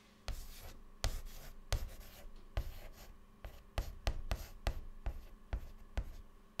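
White chalk held in fingertips writes words and dots on a black chalkboard panel. Thirteen sharp taps and short scratches stand apart, each a low thud with a brief bright scratchy tail that dies away quickly between strokes.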